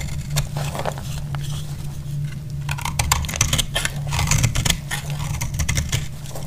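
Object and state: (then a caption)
Dry bar soap being shaved. A utility blade shaves along the edge of a solid orange bar of soap, making a run of crisp, dry scraping and crackling strokes with bright, brief transients. The strokes sit over a steady low hum that carries most of the sound's energy.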